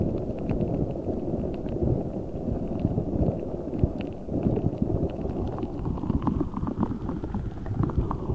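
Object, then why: Rubber spiky ball filled with gel water beads. A large translucent rubber spiky ball filled with gel water beads is squeezed and rubbed with fingertips and nails. It makes a dense, low, squishy crackle with small bright clicks running through it. The sound stays fairly steady, with a brief dip just after four seconds.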